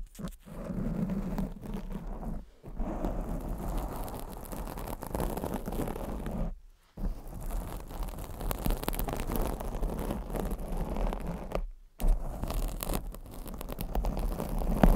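Long blue acrylic nails scratch the black foam windscreen on a microphone. The result is a dense, low-heavy rustling scrape that runs almost continuously, broken by brief silent pauses around 2.5, 6.7 and 12 seconds.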